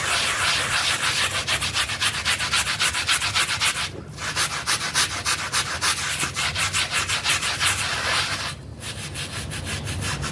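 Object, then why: Wet synthetic pile rug scrubbed with a stiff brush. A foamy, wet blue synthetic pile mat is scrubbed in strokes with a pink brush with green bristles. The result is a fast, steady, bright, hissy bristle-scrubbing rhythm, with two brief pauses near 4 and 8.7 seconds.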